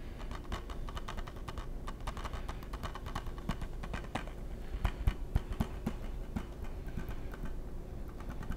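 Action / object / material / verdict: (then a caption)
tap / hard plastic game case / plastic / none. Fingertips tap and scratch a hollow, hard plastic PS3 game case in a quick, uneven patter of dry, clicky taps over a steady low hum. Each tap dies away almost instantly, and a few louder knocks stand out near the middle of the clip.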